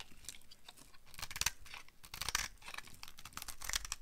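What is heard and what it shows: A utility knife carves a solid, pale yellow dry soap bar into crumbly curls and flakes, making quiet, dry crunching and scraping strokes with bright, crisp crackle. The cuts come in short bursts that flake and crumble away, with sharper crunches near the middle and end.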